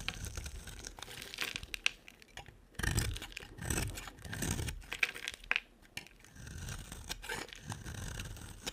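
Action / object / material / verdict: scrape / solid bar soap shaved with a knife / soap / none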